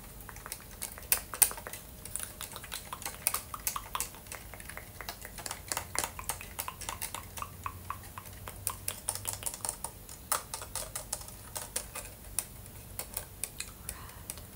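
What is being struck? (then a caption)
Hollow plastic brick-built helmet. A hollow ABS plastic LEGO Boba Fett helmet, held in both hands, is tapped rapidly with dark-painted fingernails on its studded dome and bricks. The result is a dense stream of crisp, bright plastic clicks with very short decay over a low, steady background.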